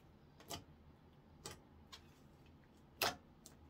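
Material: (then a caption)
Slime. A palm-sized blob of soft, solid, translucent orange clear slime on a wooden counter is squeezed, folded and poked with fingertips. Five short, bright, crisp clicks and pops stand out over a faint steady hiss, the fourth the loudest, each fading almost instantly.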